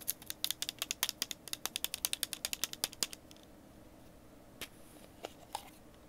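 A small, hollow, clear plastic screw-lid jar, partly filled with small grey metal items (possibly tacks or pins), is held in both hands, tapped with fingertips and shaken. It makes a quick run of bright, sharp clicks and rattles for about three seconds, then a few sparse single taps after a near-silent pause, about thirty hits in all.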